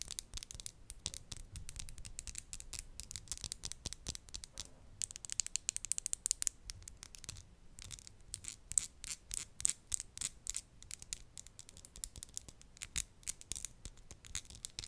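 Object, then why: Acrylic nail tips. Long, hard, solid acrylic nails decorated with glitter and gold are tapped and scratched against each other close to a microphone. The result is a fast, dense stream of sharp, bright clicks and scratchy ticks that stop instantly with no ring, over a faint low rumble.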